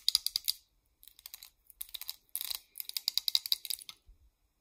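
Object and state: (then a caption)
Plastic hair claw clip tapped with nails. Long nails tap on a small purple hair claw clip of solid molded plastic. Quick bursts of dry, bright clicks come in clusters with short pauses between, each tap dying away almost instantly, with no low end.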